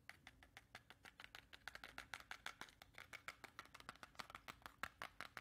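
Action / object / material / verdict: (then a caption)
tap / cardboard matchbox / cardboard / none. A small, hollow yellow cardboard matchbox with a striker strip is held up close and quickly tapped and scratched with long red-painted nails. About 34 rapid, crisp clicks and scratches follow one another, each dry and short with a bright papery tone and almost no low end.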